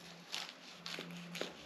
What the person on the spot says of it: hear how crispy that pastry is